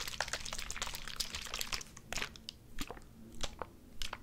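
A small, hollow, clear plastic Gatorade squeeze bottle with an orange G cap is rapidly tapped and crunched with fingertips and nails close to the microphone. A dense run of crisp plastic crackles and clicks fills the first two seconds, then thins into sparser, separate sharp taps and crunches.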